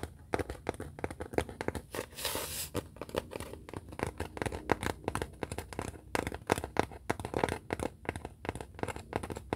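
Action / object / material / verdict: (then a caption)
tap / pressed hardboard clipboard / hardboard / none. Long fingernails tap and scratch the face of a brown pressed-hardboard (masonite) clipboard, a thin flat solid board held upright in both hands. Quick, dry ticks follow one another with almost no ring, broken early on by a brief hissing scratch. The clipboard gives a hollow, woody knock under the fingertips.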